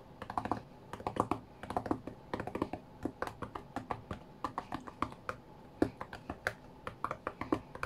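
Fingertips from both hands tap on the glass touchscreen of a flat white iPad, as if playing a rhythm game. Quick, dry, soft taps come in uneven bursts, each with a dull low-mid knock that dies away almost instantly, over a quiet background.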